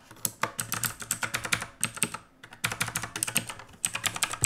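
Both hands type with their fingertips on the plastic keycaps of a full-size black backlit mechanical keyboard resting on a wooden desk. A rapid run of sharp, bright, clacky keystrokes stops briefly near the middle, then resumes at the same quick pace.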